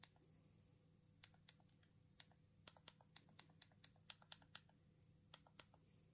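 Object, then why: Plastic mobile phone keypad buttons. Thumbs press the keypad buttons on a small black plastic Punkt mobile phone held in the hands, giving about twenty quiet, sharp, bright clicky taps spaced irregularly across the clip. Each tap is very short and dies away almost at once, over a faint steady low hum.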